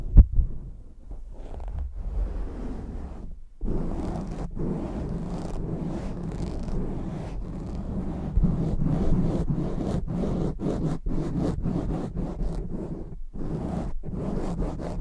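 Fingertips and short nails scratch and rub fast on a soft, hollow black foam windscreen on a microphone. The result is a dense, muffled, low rumbling scrape, broken by brief quiet gaps, with little high content.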